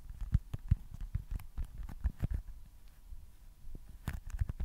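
Fingertips and short nails tap and scratch a small, solid baseball-style foam stress ball with printed red stitching, held at the top of a microphone. The result is an irregular run of soft, dull, low thumps with brief clicky edges, separated by quieter scratching.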